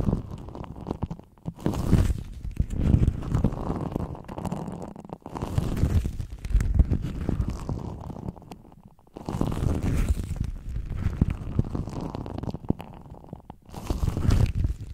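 Black leather gloves worn on both hands are rubbed and squeezed against each other, producing dense, low, rumbling leather creaks. The creaking comes in long bursts separated by brief quiet pauses, with almost no bright content.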